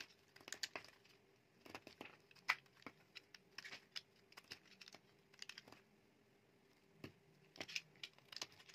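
A metal utility knife blade cuts and shaves chips off a solid, dry, palm-sized mint green bar of soap. The result is a quiet series of short, crisp, bright scraping crunches in irregular bursts, with a faint steady hum underneath.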